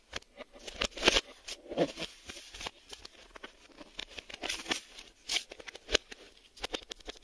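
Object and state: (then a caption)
Cardboard video tape box. A printed cardboard Maxell VHS tape box held in the hands is tapped and scratched on its back and spine with fingertips and nails. The result is a quick, uneven series of dry, crisp taps mixed with bright, papery scratching and rustling that stops short with no ring.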